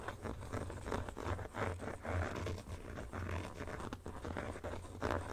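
Fingertips and nails scratch and tap the textured inner back panel of an empty black plastic phone case held in both hands. The result is a continuous run of dry, rasping scrapes broken by soft taps, with a steady low rumble underneath and little high-end brightness.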